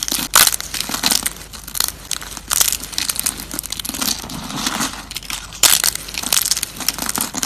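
Bare fingertips squeeze and crush handfuls of thin, dry, brittle brown soap curls and strips piled on a wooden surface, so they crack and crumble. The result is dense, bright crackling and crunching with very little low end, with sharper bursts near the start and again past the middle.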